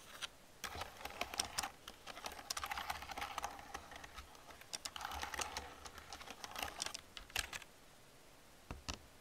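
Fingertips with long nails type quickly on an old black plastic computer keyboard, making a steady run of short, dry, bright clicks and clacks. The tapping comes in busy bursts, thins out near the end, and finishes with a few isolated keystrokes.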